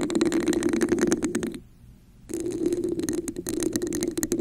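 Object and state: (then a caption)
Textured plastic cup, hollow. Long nails tap and scratch the top and sides of a red, hollow, textured plastic cup placed over a microphone. The result is dense, rapid clicking and rasping with a hollow resonance around 360 Hz and bright edges. The sound stops briefly in the middle before the tapping and scratching start again.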